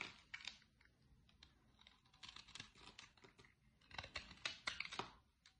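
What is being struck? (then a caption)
Bar of soap cut with a utility knife. A utility-knife blade carves flakes from the corner of a solid, dry, light green bar of soap held in the hand. The cuts come as quiet, crisp, bright scraping ticks and short rasps, some in quick clusters, with little low end and almost no ring after each stroke.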